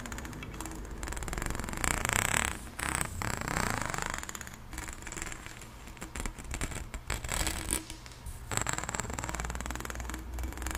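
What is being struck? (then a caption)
Corrugated plastic tube. Long nails scratch along the corrugations of an extended pink, ribbed, hollow plastic pop tube held diagonally. The result is a rapid, zipper-like ratcheting scrape over a low rumble with a faint high whine, swelling and fading in several passes.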